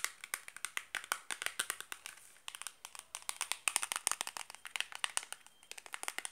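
Long black nails tap and scratch fast across the faces and edges of a small, closed, rectangular cardboard Granado Enxofre soap box, hollow with a bar of soap inside. About 45 quick, crisp, bright clicks with almost no ring rattle out in rapid bursts, broken by a brief, softer scratchy stretch around the two-second mark.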